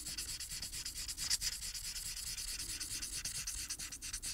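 The upright felt tip of a plastic marker rubs across a thin printed paper coloring sheet lying flat, in fast coloring strokes. A steady run of quick, scratchy strokes gives a soft, bright, hissing rasp, with almost no low end.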